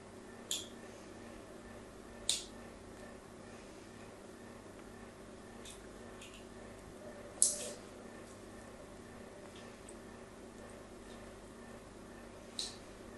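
A thin metal tool scratches the crosshatched corner of a solid pink bar of soap held in the hand. It makes short, bright, crisp scraping bursts spaced irregularly over a quiet, steady low background.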